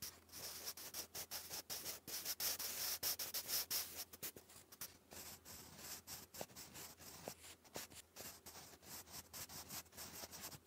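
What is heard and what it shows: A sharpened wooden graphite pencil writes English cursive across a thick sheet of grey lined cardstock lying flat. It makes quiet, bright, dry scratching strokes in quick, uneven bursts. The strokes are louder over the first four seconds, then softer and lighter.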